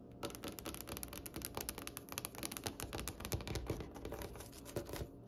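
Long acrylic nail tips on both hands, fingers clustered together, tap and lightly scratch a large solid wooden tabletop with a glossy finish. The result is a rapid, steady stream of short, crisp clicks with a woody low body and bright scratchy edges, each tap fading quickly.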